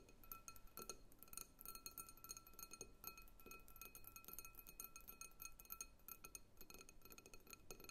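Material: Glass.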